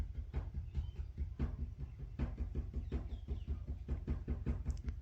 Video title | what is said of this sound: 2015 Suzuki Swift dash board rattles and solution. | if you tap it just right you get the rattle